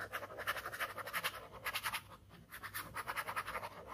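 A ballpoint pen tip scratches repeated short strokes across a flat white paper sheet bearing a scribbled ink skull, working near the edge of the sheet. Each stroke makes a dry, bright scratching rasp. Sixteen strokes come in quick, rhythmic bursts with a brief lull in the middle.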